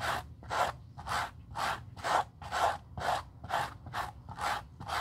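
A stiff white-bristled suede brush rubs briskly over the toe and sides of a black suede leather Gucci loafer held in gloved hands. Twelve dry, raspy strokes follow in a steady rhythm of about two per second, each a bright, airy scrub.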